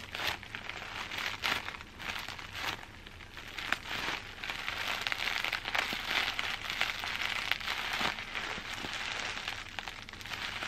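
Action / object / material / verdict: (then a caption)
scrape / plastic bubble wrap / plastic / none. Crumpled clear plastic bubble wrap, held in one hand close up, is scratched and squeezed with long dark nails. It gives a dense, bright crinkling with quick crackly snaps that stays fairly steady throughout, with almost no low end.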